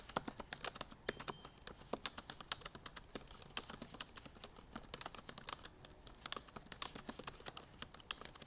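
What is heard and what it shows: Long painted nails on both hands type rapidly on the black plastic keys of a silver aluminum MacBook Pro keyboard. The result is a fast, uneven stream of crisp, bright clicks and taps with almost no low end, each dying away almost instantly.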